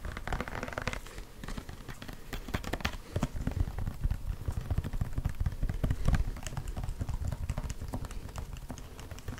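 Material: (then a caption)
Plastic. Fingertips and short nails rapidly tap and scratch over the surface of a large, hollow, white plastic E45 lotion pump bottle, probably partly full, held in both hands close to the microphone. A dense, irregular patter of short, dry clicks and scrapes continues throughout, with a low hollow body tone under bright ticks.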